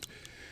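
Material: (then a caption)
Steel, polymer. A Ruger Max-9 compact 9mm pistol is shaken, and its steel slide rattles on the polymer frame because it is not a tight fit. Two short, bright clicks are heard, a sign of sloppy tolerances.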